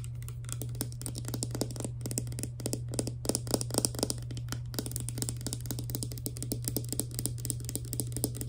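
Long nails rapidly tap a small, hollow, clear plastic Fructis hair serum pump bottle, first on the bottle body and then on its green plastic pump head. The taps are quick, dry, irregular clicks with a bright edge, layered over a steady low hum.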